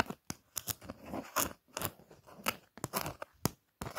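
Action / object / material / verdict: scrape / thin printed paper greeting card / card stock / none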